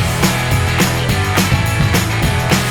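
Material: Nothing is struck.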